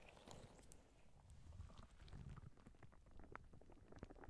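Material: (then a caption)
Rubber. A clear, soft rubber spiky squishy ball is held close to the microphone, squeezed, and its spikes are rubbed with fingertips and nails. The sound is a quiet, low, rumbling squish with soft crackling ticks and brief brighter scratches scattered throughout.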